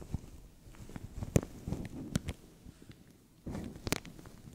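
Fingertips and nails scratch and crinkle a thin, translucent plastic bag stretched over a microphone. Soft, low-heavy rustling is broken by several sharp, bright crackles. It ends in a louder burst of crinkling near the end.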